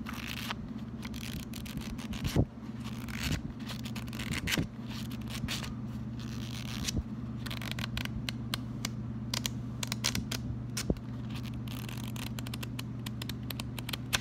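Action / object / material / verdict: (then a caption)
flick / paper sticky note pad / paper / none. A small pink paper sticky note pad, held as a solid stack and bent in both hands, is flicked and riffled through by fingertips. Rapid, crisp papery flicks and scraping ticks run over a steady low hum, with a few sharper, louder snaps near the start.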